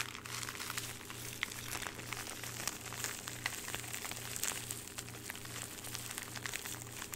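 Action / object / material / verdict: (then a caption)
scrape / thin plastic bag / plastic / none. Fingertips crumple and crinkle a thin clear plastic bag holding a small jewelry item, held up in both hands. A continuous run of bright, crackly rustles and sharp snaps carries through the whole clip over a faint low, pulsing hum.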